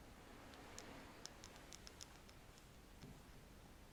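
A wooden stick is scratched and tapped close to the microphone, producing a quiet run of light, bright clicking ticks. The taps are spaced unevenly over a soft, steady rustling hiss, and each click fades quickly.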